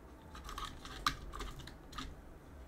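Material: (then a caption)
Plastic. Gloved fingertips press the plastic keycaps of a backlit mechanical keyboard and clean between them. Soft, brief clicks and rustles come in clusters over a low steady hum, with one sharper, louder click near the middle.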